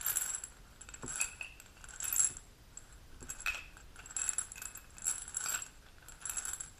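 A small dark amber glass supplement bottle with a gold metal cap and paper label, holding capsules, is held in the hand, turned and tapped with long pink natural nails. Quiet, bright clicking taps come in irregular bursts, each short and high-pitched with a brief glassy ring, with possible faint rattling of the capsules inside.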